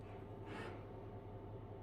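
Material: Nothing is struck.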